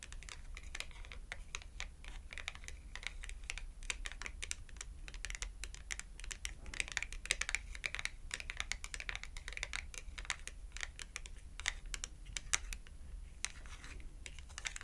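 A small, thin red cardboard shopping tag is held edge-on between both hands while its thin edge is tapped rapidly with long acrylic nails. The result is a quick, continuous stream of crisp, dry, bright clicks that stop sharply with no ring, over a steady low hum.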